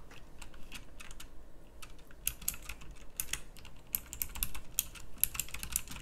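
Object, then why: Plastic mechanical typewriter-style keyboard. Fingertips type on a pink plastic mechanical typewriter-style keyboard with round plastic keycaps. Fast, bright clicky key strikes overlap in irregular bursts, each one short and sharp with almost no ring. A low steady hum sits underneath.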